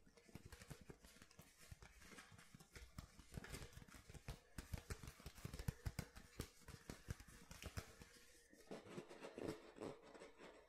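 Painted nails tap the hollow, ridged base of an empty clear plastic water bottle held bottom-forward. The result is a quiet, rapid run of dry, hollow clicks and soft thumps that are mostly low in tone and die away almost instantly, with a light crinkly patter in between.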